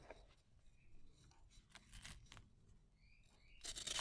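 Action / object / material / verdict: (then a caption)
scrape / cement and sand ball / cement, sand / none. A fist-sized, solid, dry and dusty cement-and-sand ball is held in the fingers while its flat face is scraped and shaved with a red-handled utility knife, shedding fine dust. Quiet, dry, bright scraping strokes come in short bursts over a soft low rumble, with a louder, harsher rasp at the end.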